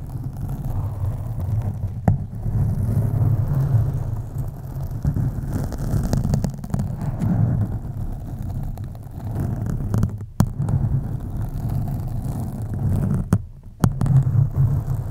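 Long acrylic nails scratch slowly across a black foam microphone windscreen, giving a deep, muffled, rumbling rustle that sits almost entirely in the low end around 150 Hz. The scratching runs continuously with a few sharp clicks and brief near-silent gaps, then resumes at the same steady low level.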